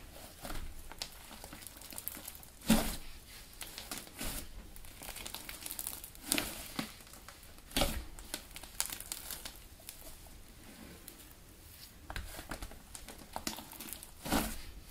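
A large lump of blue soft clay slime on a white table is grabbed, squeezed and kneaded with both hands and fingers. Steady soft crinkling runs throughout, broken by sharper popping squishes that flare bright across the range.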